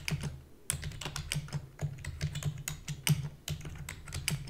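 Fingertips with long natural nails rapidly press the keys of a black full-size plastic computer keyboard with hollow key housing. Quick, clicky taps with bright attacks sit over a steady low hum near 145 Hz, and many short keystrokes run together in uneven bursts.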